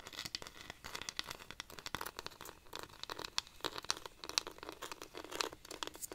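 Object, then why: Dried cactus wood rainstick. A hollow, dried-cactus wooden rainstick is held upright and scratched and tapped with long nails along its ridged wood. The result is a dense, bright, crackling stream of quick, dry scratches and light taps with very little low end.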